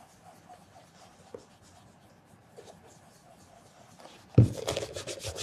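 A black leather penny loafer with a leather sole and heel, hollow and held on its side, has its toe and vamp rubbed with a red cloth over the fingertips during mirror polishing. Faint, soft rubbing and light scratches run for about four seconds. It then breaks into louder, brighter, rapid buffing strokes with a low thump at the start.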